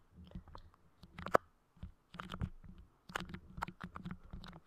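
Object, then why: Clear putty clay on a microphone grille. Fingers press, pull and tap at clear, soft putty clay spread over the grille of a Blue Yeti microphone. Quiet, sticky squelches and crackly clicks come in uneven bursts over soft low thumps, with short gaps of silence between them.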